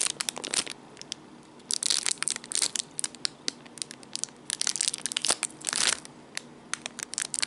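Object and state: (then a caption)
Plastic bag crinkling. A small clear plastic packaging bag with a dark item sealed inside is held close and crinkled and squeezed with the fingertips. It makes sharp, bright crackles and crunches, with dense bursts of crinkling around two seconds and near six seconds over a quiet background.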